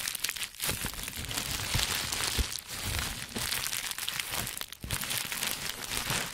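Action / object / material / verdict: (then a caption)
scrape / plastic bubble wrap / plastic / none. A large sheet of green plastic bubble wrap with air-filled bubbles is bunched into a dome and held in both hands while fingertips squeeze, press and crinkle it. The result is a steady, bright, dense crinkling and crackling with small low thumps mixed in. It dips briefly quieter a few times before picking back up.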